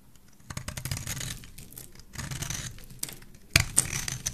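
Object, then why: Solid bar of soap cut with a metal blade. A rectangular, solid cream-white bar of soap is held in the hand and carved with a metal blade that cuts notches and shavings from it. The result is a run of dry, crisp scraping and shaving strokes with a bright hiss over a soft low rumble. Sharper, louder cuts stand out near the end.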